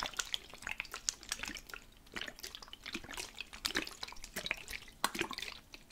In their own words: ASMR - Water Sounds: Spray Bottle Liquid Shaking / Water Sloshing